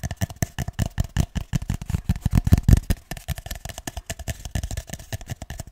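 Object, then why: Cardboard toilet paper tube. Fingertips and nails tap and scratch along a single empty, hollow cardboard toilet paper roll tube held horizontally in both hands just above the microphone. About 38 quick, irregular taps give dull, hollow low thuds with very short decay and faint scratchy texture between them. The taps grow louder and denser in the middle of the clip before settling back.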